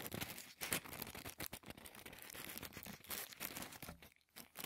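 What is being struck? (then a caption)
Thin tissue paper sheet. A large folded sheet of thin white tissue paper, the kind used as shoe-box wrapping, is held over a wooden table while fingertips fold and crinkle it. The result is soft, continuous, bright crackling and rustling, with short louder crinkle bursts throughout and a brief quiet gap near the end.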